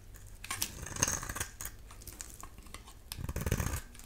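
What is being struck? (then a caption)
Bar of soap cut with a blade. A solid amber-yellow dry bar of soap, held in the hand, is shaved into curls with a utility knife blade. Repeated short, dry scraping and cutting strokes sound bright and crisp, with soft low thuds beneath them and a louder cluster of scrapes near the end.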